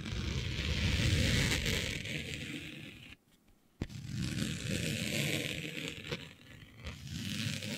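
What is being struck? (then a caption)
Smooth synthetic printed fabric. Smooth synthetic fabric with a planet print, laid flat, is scratched and rubbed with long nails and fingers. The result is a continuous raspy scraping and rustling with a low rumble and a bright hiss, broken by a near-silent pause a little after three seconds that ends in a sharp tick, then the scratching resumes.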